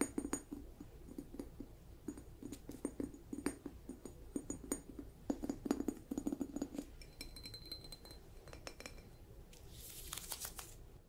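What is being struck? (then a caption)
Ceramic lidded jar. Long nails tap and scratch the cap and knob of a hollow, lidded light blue polka-dot ceramic mushroom jar with a ribbed white base. Quick, bright clinking taps with a brief glassy ring come in uneven bursts, then give way to a softer high scratching near the end. A faint low hum runs underneath throughout.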